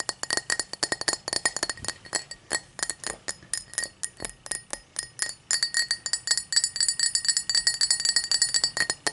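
A tall drinking glass is tapped in quick, uneven bursts, giving about 53 bright, short clinks with a high ringing tone and almost no low end. The taps come in loose clusters with brief pauses, each clink dying away almost at once.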